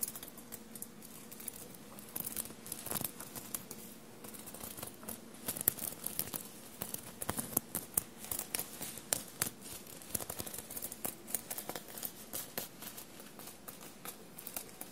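Short blue-painted nails scratch and tap a dark blue soft fabric shirt bunched on a table and covered in small silver paillette studs. The result is a quiet, steady run of crisp, bright scratching and rustling, broken by many sharp little clicks and taps that stop instantly.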